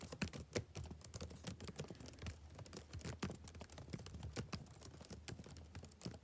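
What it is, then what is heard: Plastic laptop keyboard being typed on. Fingertips type rapidly on the plastic keys of a backlit laptop keyboard, producing a steady stream of short, quick-decaying clicky taps with bright tops. A soft low hum sits underneath the quiet, continuous typing.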